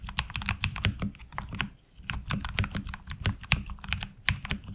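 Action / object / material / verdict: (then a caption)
tap / mechanical keyboard with plastic keycaps and metal plate / ABS plastic / none. A HyperX Alloy Origins Core tenkeyless mechanical keyboard, with a metal top plate, ABS SA-profile keycaps and tactile switches, sits on a desk mat and is typed on with the fingertips of both hands. Rapid, uneven keystrokes make short, bright clacks over a low thocking body, with a brief pause near the two-second mark before typing resumes.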